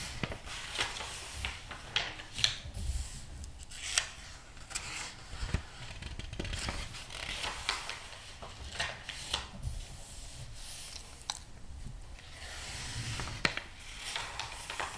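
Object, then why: Glossy paper magazine. Fingertips smooth the pages of a thick, glossy paper magazine lying open and flip them quickly. Soft, bright paper rubs and rustles are broken by sharp, crisp snaps as each page turns, over a low, dull rumble of handling.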